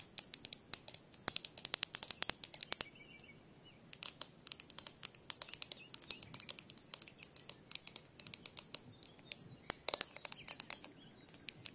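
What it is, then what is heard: Glass jar with lid tapped with fingernails. Long nails tap quickly on the glass lid and sides of a small clear glass jar with a lid and a yellowish label or contents, held in one hand. Bursts of sharp, bright, clicking taps each die away almost instantly, with a brief pause about three seconds in before the tapping resumes.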